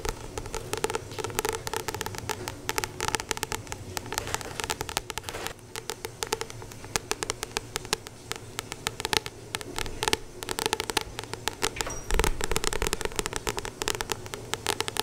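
Long painted nails tap rapidly on the glossy card cover of a solid paperback, the *Acupuncture Points Handbook*, held up close to the microphone. The result is a dense, continuous stream of short, crisp, bright clicks over a soft papery hum, with a louder burst of taps about twelve seconds in.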